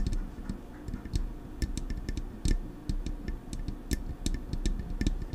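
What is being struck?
Metal microphone body and grille.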